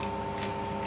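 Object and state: Nothing is struck.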